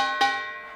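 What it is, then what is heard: Real playable metal gong plaque. A commemorative plaque from former prosecutor colleagues, made in the shape of a kkwaenggwari (small Korean metal gong), is struck once, adding a bright metallic clang to a ring already sounding. The tone centres near 800 Hz with a stack of bright overtones and rings out, fading over most of a second. It proves to be a real, playable gong rather than just decoration.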